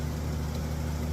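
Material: Nothing is struck.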